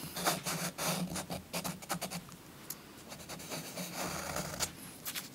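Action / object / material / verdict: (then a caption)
scrape / chalk stick on a paper page over cloth / chalk, paper / none. A purple chalk stick is rubbed and scratched with steady strokes over a paper coloring book page resting on a soft cloth. The result is a dry, gritty scratching made of irregular bursts of bright, broadband noise, with a faint low hum underneath.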